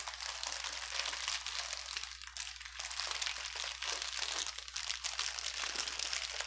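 A small bundle of clear plastic air-bubble wrap with empty, hollow air cells rests on a table and is squeezed and crunched with the fingertips of one hand. It gives dense, bright crinkling and crackling that runs almost continuously, with brief dips in between. A faint steady low hum sits underneath.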